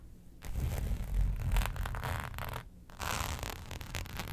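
Long pointed nails scratch and tap a flat black embossed faux leather sheet lying on a fur rug. A rough, zipper-like scraping rises and falls in two bursts with a short pause between, carrying a low, dull rumble under brighter rasping texture.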